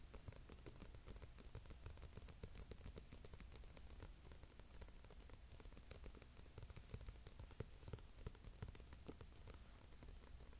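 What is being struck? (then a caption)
Closed glossy paper magazine on carpet. Fingertips of both hands tap rapidly on the cover of a closed, glossy Monocle paper magazine, a solid stack of pages lying flat on a carpet. The dense, quiet, dull patter runs continuously like rain, with its energy mostly in the low end and a few sharper taps standing out.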